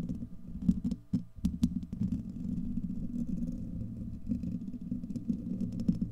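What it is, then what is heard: Metal mesh microphone grille being scratched. Fingernails of both hands scratch over a hollow, domed steel wire-mesh microphone grille, making a dense, low rumbling scrape centered in the low-mid range. Sharp clicks and ticks cut through with brief high crackles.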